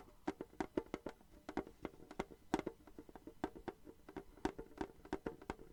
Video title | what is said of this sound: ASMR - Random Assortment of Sounds! Crinkles/Scratching/Tapping 🎧💤 | tin tapping sounds very very nice but it also reminds me of rain on a tin roof